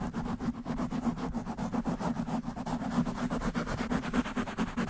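Nails and fingertips rapidly scratch the black foam windscreen on a desktop microphone. The result is a dense, continuous rustling scratch with a steady low hum near 234 Hz, pulsing quickly in short strokes with bright hiss on top.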